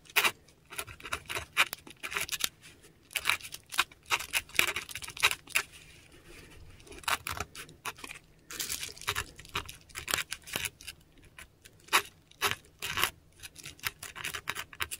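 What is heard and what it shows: A metal dip pen nib scratches across a flat sheet of textured Korean paper up close as it writes ink letters. Quick bursts of bright, dry scratching come in irregular strokes, separated by short near-silent pauses.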